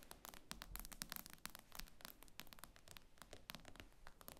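Long nails tap rapidly on the glass screen of an iPad lying flat. The quiet taps are quick, dry and bright, with very short, crisp clicks that fade almost instantly and a faint low rumble underneath.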